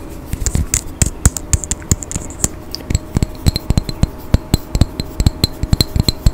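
Fingernails and fingertips tap a small, hollow, partly filled pink-tinted glass perfume bottle with a gold cap close to the microphone. Some thirty quick, dry taps come in an irregular run, each a short click with a low thump and a faint glassy tick that dies away almost at once.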